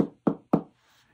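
Three knocks land on the plastic casing of a large, very light Zephyrtrax MS-3628BT-M Bluetooth speaker (15 in, 2.64 lb), each a dull, hollow thud around 290 Hz that dies away quickly. The enclosure sounds hollow, with little sense of circuitry, battery or drivers inside, and a faint bright hiss follows.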